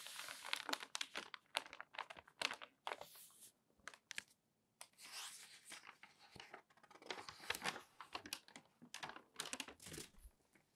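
Newsprint newspaper pages are turned and crinkled by hand, then smoothed flat with the palms. Dense bursts of bright, dry crackling and rustling come in quick clusters with short pauses between, with almost no low end. Each crinkle stops sharply without ringing on.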